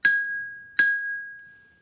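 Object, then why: Glass cup holding water. A metal spoon taps a glass cup of water twice, each tap a bright clink that rings out at a steady high pitch near 1.6 kHz, the water inside vibrating. With more water in the cup, the ring is lower in pitch.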